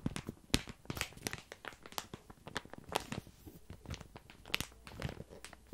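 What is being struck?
Padded paper mailer envelope.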